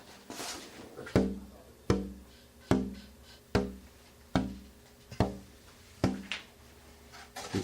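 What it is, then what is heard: Resonant wooden guitar body (tap tone). A wooden guitar top and body is tapped in a steady series of seven firm knocks, with softer taps at the start and end. Each tap gives a warm, hollow tap tone centred near 260 Hz that rings briefly as the air chamber inside vibrates and pushes air out. The top, whose scalloped braces let it vibrate more, sounds resonant.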